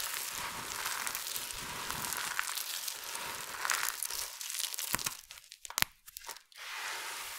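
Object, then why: Heap of soap flakes. Fingers with long nails rake through and press into a large heap of small, multicolored dry soap shavings, crushing and scratching the flakes. A dense, bright crunching and crinkling runs steadily for about five seconds, then breaks into sparser sharp crackles with brief near-silent gaps before a soft rustling hiss returns at the end.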